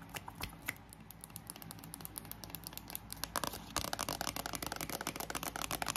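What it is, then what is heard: Paperback dictionary cover. Long acrylic nails tap and scratch the glossy card cover of a thick paperback bilingual dictionary held up as a solid block of paper. Fan hum runs steadily underneath. The dry, bright clicks and scrapes start sparse and quiet, then turn into a louder, denser flurry of fast taps in the last two seconds.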